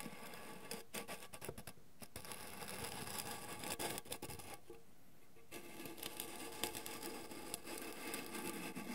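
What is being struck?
Small round metal tin.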